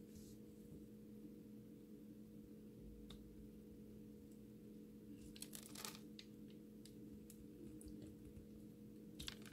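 An orange utility knife's metal blade cuts and scrapes into the surface of a solid, palm-sized green bar of soap that is held in the hand and already scored into a grid. Quiet, soft crunching and scraping come with brief bright crackles. A steady low hum runs underneath throughout.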